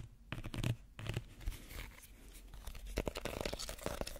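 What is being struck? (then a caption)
Small woven reed basket. Fingernails scratch the weave of a small, empty woven reed basket held close to the mic. Dry, rasping, crinkly scrapes come in uneven bursts with a soft low thump under them, some louder strokes standing out near the start and toward the end.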